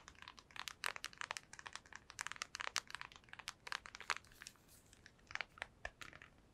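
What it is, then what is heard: Plastic handheld game console. Long white nails tap rapidly across a hollow black PSP handheld game console with a silver plastic rim, up close. A fast, irregular run of dry, bright plastic clicks comes in bursts with short pauses. Each tap stops instantly with no ring and almost no low end.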